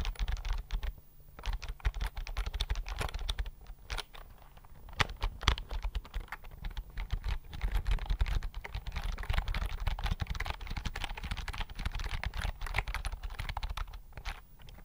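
Fingertips type on a slim white plastic computer keyboard held in front of the mic. A steady stream of rapid, crisp key clicks comes with a deep low thump under each press, broken by a few short pauses near one, four and fourteen seconds.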